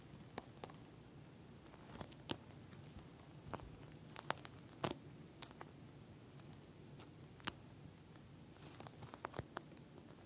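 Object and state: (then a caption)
Plastic gel bead eye mask. Fingernails tap one finger at a time on a pink gel bead eye mask with a plastic shell, then both hands scratch across it. The sound is quiet, scattered, sharp clicks and crackly ticks with bright tops over a low, steady background murmur, and each tap dies out instantly.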